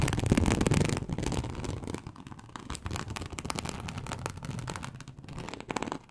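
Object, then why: Snakeskin-embossed leather sheet. Long acrylic nail tips scratch across the scales of a large, flat, teal snakeskin-embossed leather sheet. The result is a dense run of short, rough scratching strokes with a low, full body and some bright edges. It is loudest in the first second, then settles into quieter, uneven rasping.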